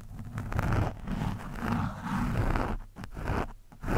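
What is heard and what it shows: The thin steel shaft of a screwdriver scratches and pokes at a soft, porous orange foam windscreen on a microphone. The result is a continuous, muffled, low rumbling scrape that swells and fades, with brief gaps of near quiet before it returns loudly at the end.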